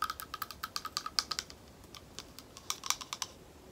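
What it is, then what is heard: Glass bowl tapped with nails. Long nails tap a small, thick, hollow, empty clear glass bowl in a quick, uneven run of about two dozen light, clicky taps. Each tap is a bright, high tick with a faint lower ping that dies away almost instantly. The taps come in a dense burst, then a sparser cluster after a short lull.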